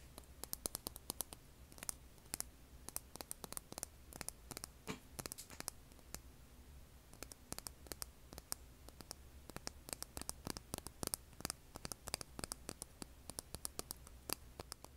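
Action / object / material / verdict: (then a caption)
scrape / rough stone held in the hand / stone / none. Long red nails scratch and tap the rough face of a large, solid, rough rock held in the hand. Quick, dry, bright clicks and scratches come in irregular bursts and stop instantly, over a faint steady low hum.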